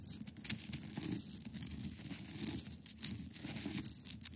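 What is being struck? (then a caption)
Block of ice. Long acrylic nails scratch the top and sides of a large, solid, clear ice block resting on a carpet. The result is a continuous, gritty scraping and crinkling with a low rumbling body, a bright hiss on top, and frequent short sharp ticks that die away almost instantly.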